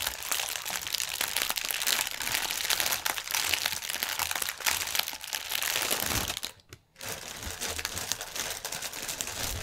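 Both hands press and crinkle a strip of clear, hollow, inflated plastic air pillow packaging on a table with their fingertips. The result is dense, bright crinkling and crunching that is nearly continuous, with almost no low end. It drops to a brief near-silence around six and a half seconds before the crinkling resumes.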